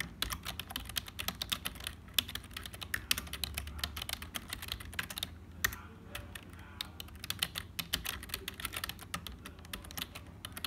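Both hands type continuously with their fingertips on a black HP full-size plastic keyboard that sounds hollow. The result is a dense, steady stream of quick, bright key clicks with a soft low rumble beneath, each tap dying away almost instantly, with brief pauses in the rhythm.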